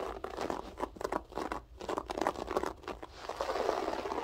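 Long acrylic French-tip nails claw and scratch a flat beige floor carpet with a textured loop pile. The result is a dry, crunchy midrange scratching in quick repeated strokes, ending in a steadier, louder rustling rasp.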